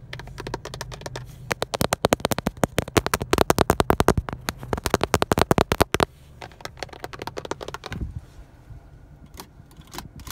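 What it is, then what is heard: Plastic steering wheel airbag cover. Fingertips and nails tap rapidly on the textured black plastic airbag cover of a Honda steering wheel. The result is a dense run of short, dry clicks that builds into a quick flurry over the first six seconds, then thins to scattered taps over a low background rumble.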